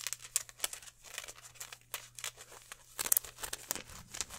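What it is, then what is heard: Polyester mesh football jersey being crumpled. Hands crumple and rub a green polyester mesh football jersey and its number patches, held close. The result is a quiet, bright, crinkly rustle of many short scratchy bursts, with a faint low hum underneath.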